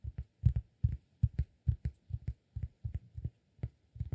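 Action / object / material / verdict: tap / cork disk / cork / none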